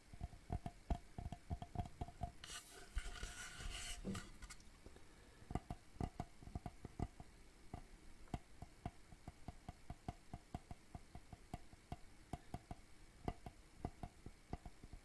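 Fingertips and nails tap across the back panel and edges of a hollow, medium rectangular wooden shadow box frame, making a steady run of quick, dry, low knocks that die away almost instantly. Partway through, a short bright, scratchy rustle breaks in before the tapping picks up again.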